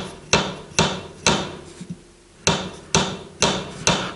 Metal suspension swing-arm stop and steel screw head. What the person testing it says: je slyšet kovový zvuk a při detailnějším prohlédnutí můžeme zjistit, že doraz nedosedá na gumový doraz, ale na hlavu šroubu